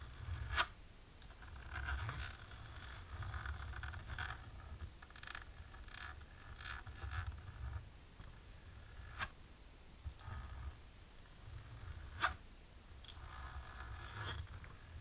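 Long natural polished nails on both hands, worn with lace fingerless gloves, scratch across a thin dark embossed plastic film laid flat. The scratching comes as rasping, zipper-like strokes with a mid-range rustle and a steady low rumble underneath. A few sharp, bright clicks stand out over the strokes.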